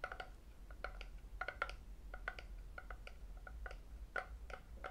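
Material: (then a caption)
Lacquered wood. A hollow, empty, medium-size red lacquered wooden octagonal tray is held in the hands and tapped by fingertips and metal rings on its sides and underside. The result is a quick series of light, dry taps with a woody tone around 1.4 kHz and bright clicks, each dying away almost at once over a low, steady hum.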